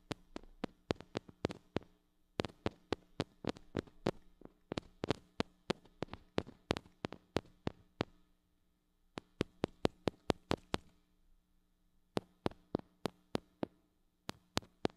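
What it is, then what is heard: Metal mini microphone tapped with fingernails. A small gold-colored mini microphone with a metal body, hollow head and metal mesh grille is held in one hand and tapped on the grille with long acrylic nails. Quick, dry, sharp clicks come in rapid bursts, each dying away almost instantly over a faint steady hum. Clear pauses break the bursts near 2, 8.5 and 11.5 seconds.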